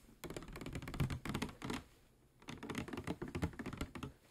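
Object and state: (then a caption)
Plastic water bottle, fingernail tapping. A clear plastic PET water bottle with a white cap, medium-sized, hollow and holding some water, is tapped and lightly scratched with fingernails. Quick clicky taps come in two dense bursts with a short quiet pause in between, each tap dull and short with little ring.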